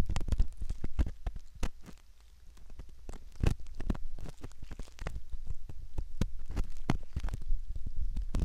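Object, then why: Silicone ear model scraped with a metal pick. A metal ear pick scrapes around the canal of a soft silicone ear model, close up. It makes dense, crackly scratching with many quick clicks and pops over a low, muffled rumble. The sound eases briefly near the two-second mark before the steady scraping picks back up.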